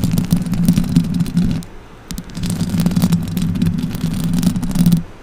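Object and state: Metal microphone grille being scratched.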